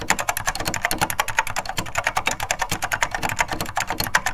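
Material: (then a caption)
Plastic. Two hands type continuously with their fingertips on a beige plastic vintage SORD M101 full-size mechanical keyboard with linear Mitsumi switches, recorded close from above. Rapid, short clacking keystrokes overlap in a steady stream, each one a bright tick with a soft low thud beneath.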